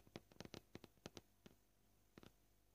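Short fingernails tap a flat, solid white plastic cutting board in a quick, uneven series of dry, sharp clicks. The taps bunch together early, pause, and then end with a final pair. Each click dies out almost at once and has a hollow low-mid body.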